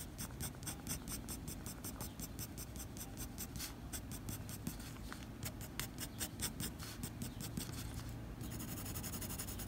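The graphite tip of a blue mechanical pencil scratches quick hatching strokes across a flat white drawing paper sheet near a drawn eye. The strokes come as rapid, dry, bright scrapes over a soft low rumble. Near the end they blur into a steady continuous scratch.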